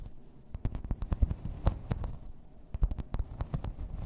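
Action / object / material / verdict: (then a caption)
tap / thin embossed plastic placemat / plastic / none. Long red nails scratch and tap along the raised floral texture of a thin, solid, grey embossed plastic placemat. A quick run of short, dull taps and scrapes sounds mostly low and muffled, with brief bright clicks on the sharper strikes. Each tap dies away almost at once.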